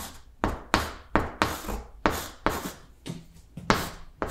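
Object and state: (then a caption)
Chalk writing on a blackboard. Chalk held in the fingertips writes lowercase letters on a large, flat green blackboard. A series of short, sharp scratching strokes starts abruptly, each bright and gritty with a low tap at its start, then fades quickly before the next stroke.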